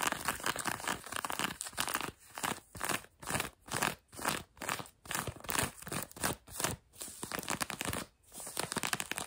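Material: Denim.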